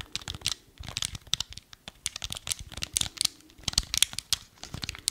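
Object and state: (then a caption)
Plastic game remote. Fingertips and nails tap and scratch along a small, hollow, black hard plastic Wii remote held horizontally. The result is a quick, bright, crinkly run of dry clicks and scrapes in irregular bursts, with almost no low end and no ring after each touch.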